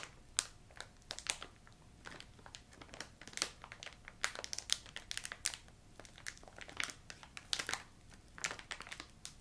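A filled yellow plastic ginger candy bag is crinkled and squeezed along its top edge with long nails and fingertips. It gives a steady run of quiet, bright, crisp crackles and snaps that die away almost instantly, with little low end.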